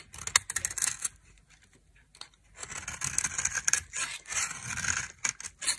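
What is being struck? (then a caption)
Bar of soap carved with a knife. A knife carves and scrapes white flakes from a hand-held solid white dry soap bar with a red rim. The crisp, bright scraping comes in short bursts with brief pauses. It ends in a run of quick cuts.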